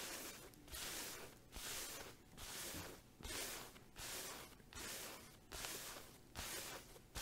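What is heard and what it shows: A flat green and pink checkered fabric makeup pouch with a zipper and a green tassel, soft and apparently empty or lightly filled, is held in the hands and tapped and scratched with long acrylic nails. Bursts of bright, hissy scratching alternate with short quiet gaps in a steady rhythm, about nine passes over seven seconds.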